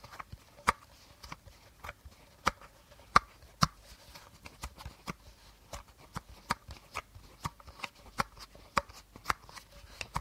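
Fingernails tap the body of an empty, hollow clear plastic bottle held horizontally, making about 20 short, dry clicks at an uneven pace. The taps have a faint hollow ring around 1.2 kHz that dies almost at once, with a light bright tick on some strikes.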